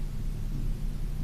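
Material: Nothing is struck.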